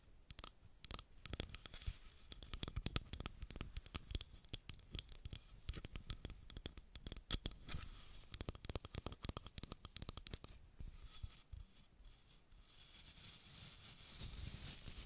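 Long black acrylic nails tap and scratch the smooth, solid wooden back and handle of a small wooden baby hairbrush, making rapid, crisp clicks and bright scratchy textures with a low thud beneath. After about ten seconds, the sharp taps thin out into a softer, steady scratching that slowly swells toward the end.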